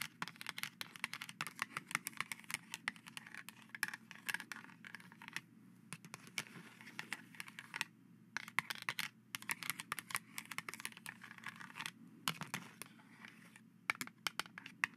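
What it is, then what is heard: Plastic knight helmet mask scratched and tapped. Plastic skeleton-hand grabbers scratch and tap across the bars of a hollow, silver-painted plastic knight visor mask resting on cheesecloth. Quick, dense, bright clicks and scrapes come in bursts with brief pauses, each tap dying away almost instantly over a faint low hum.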